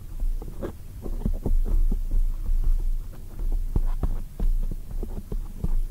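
Long acrylic nails from both hands tap rapidly on a black foam microphone windscreen. The taps come as a dense, overlapping stream of deep, muffled thumps over a steady low throb, with almost nothing heard in the high range.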